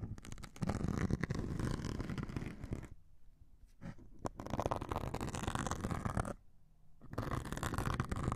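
A metal needle scratches and pokes the grey abrasive top of a hand-held white melamine foam sponge. It makes dense, gritty rasping in bursts, weighted toward low, muffled tones, with a few sharp clicks. Two brief quieter pauses fall near the middle and toward the end.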